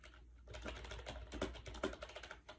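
Fast fingertip typing on a compact gray plastic AJAZZ 308i wireless Bluetooth keyboard with round white keycaps, resting on a bed. A quick, uneven run of hollow plastic clicks is heard, with short, dry taps over a soft low thump and almost no ring.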